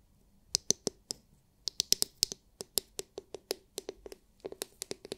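Long nails tap the hard, clear, glitter-filled plastic dome of a palm-sized oval massage brush, producing 19 sharp, bright clicks in quick, uneven bursts. Each tap is crisp and dry, dies out almost instantly, and has very little low end.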